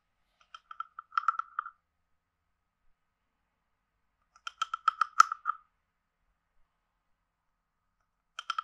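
A hand-sized hollow carved wooden frog guiro is played with a wooden stick that is scraped along its ridges and tapped. Three quick bursts of dry, rattling clicks arrive near the start, the middle and the end, each centered on a hollow tone around 1.3 kHz with a bright, crisp edge. Every click stops almost instantly, leaving silence between the bursts.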